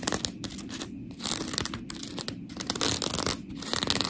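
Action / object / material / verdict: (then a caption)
scrape / polymer foam scrub sponge / polymer foam / none. Long pink nails scratch and tap a palm-sized, round, blue textured polymer foam scrub sponge with smiley cut-outs, held in one hand. Gritty, bright scratching comes in dense bursts with brief quieter gaps, mixed with quick tapping and soft squishing.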